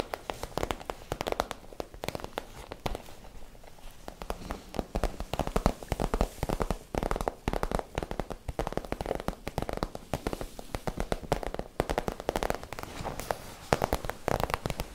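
Long nails and fingertips tap and scratch an empty, flexible iridescent holographic PVC pouch held close, producing a dense stream of quick, dry clicks and crinkly crackles. The taps are short and sharp with almost no ring, their body centred in the low mids around 480 Hz with little bright content. They continue unevenly throughout, with louder clusters in the middle and toward the end.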